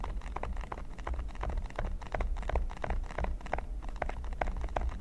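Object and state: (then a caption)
Silicone pyramid mat. Fingertips and short nails from both hands scratch and tap the small pyramid studs of a flat, solid red silicone baking mat lying on a table. It makes a quick, uneven patter of short, dry clicks and scratches over a low, steady rumble.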